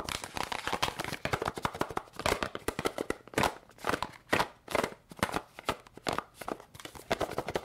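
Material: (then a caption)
Cardboard. Long pink nails tap quickly and repeatedly on a small, hollow yellow and red cardboard candy box. The result is a rapid stream of dry, hollow clicks and taps that come in bursts, with short pauses between them.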